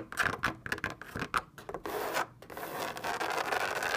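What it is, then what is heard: Fabric lampshade scratched and tapped. Long painted nails scratch and tap the taut surface of a lit white fabric lampshade shaped like a hollow drum. A quick run of short, dry scratching taps gives way to a steady, rasping rub across the fabric.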